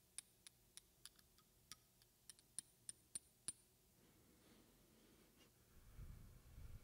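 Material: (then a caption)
Glass. Long red-painted fingernails tap a small, slim glass roll-on perfume bottle with a silver metal cap, held in the other hand, producing 14 sharp, bright clicks at an uneven pace over about three and a half seconds. The tapping then stops, leaving a soft, quiet rustle and a low, rumbling handling noise that swells near the end.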